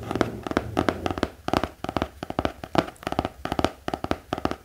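A black hardcover notebook with an elastic band lies flat and is tapped with the fingertips. About two dozen quick, irregular taps sound as dull, hollow knocks with a mid-range body near 330 Hz. Each dies away almost instantly, with a faint low hum beneath.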